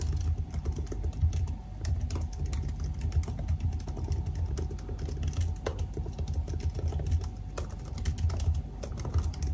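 Fingertips of both hands type continuously on a silver aluminium laptop keyboard with black plastic keys. A dense stream of soft, quick key clicks runs steadily throughout over a deep, low rumbling base, with the occasional sharper tap standing out.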